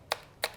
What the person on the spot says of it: begitu kita ketok ini dia materialnya plastik